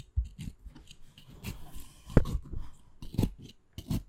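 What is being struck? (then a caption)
Aloe vera leaf. A narrow blade scores rapid diagonal lines into the surface of a solid, wet, crosshatched green fresh aloe vera leaf held on a wooden board. A quick series of short, soft, wet scratching strokes is heard, dull and mostly low in tone, each stopping abruptly with no ring.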